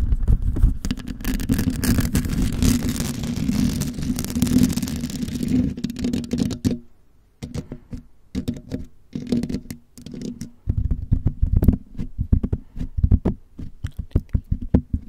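Long nails from both hands scratch and tap along the sides and top of a white condenser microphone's bare, hollow metal mesh grille. For about six seconds there is a dense, continuous, low-heavy scratching rumble. After a brief near-silence, it gives way to scattered dry taps that grow quicker and denser toward the end.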